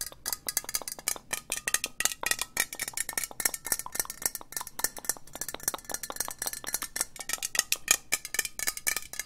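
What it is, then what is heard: Metal aerosol spray can. Long nails tap fast on a hollow green metal aerosol spray can, making a dense stream of short, bright clicks and clinks with almost no low end. Each tap dies out almost at once, and a faint metallic ring hums beneath the rapid rhythm.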